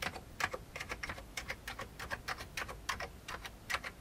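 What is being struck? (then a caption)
Plastic computer keyboard. Fingertips of one hand type on a full-size vintage beige plastic computer keyboard, producing a steady run of short, bright plastic clicks and clacks from the keys. Each keystroke is sharp and dies away almost instantly, with only a faint low background hum between them.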